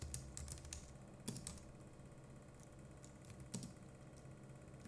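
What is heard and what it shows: Fingertips of both hands type on a compact Logitech MX Keys Mini keyboard with plastic keycaps, producing a quiet, irregular run of short, bright key clicks. The clicks sit over a steady low hum throughout.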